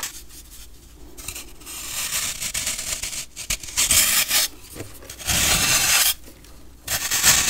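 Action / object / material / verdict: scrape / compressed baking soda block scraped by a metal blade / baking soda / none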